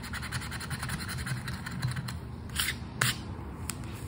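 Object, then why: Paper scratch card with a coin-like token. A flat paper Joker scratch card has its coating scraped with the edge of a red and gold token. A rapid series of dry, papery scratching strokes is heard, with a low rumble underneath and a few brighter, sharper scrapes toward the end.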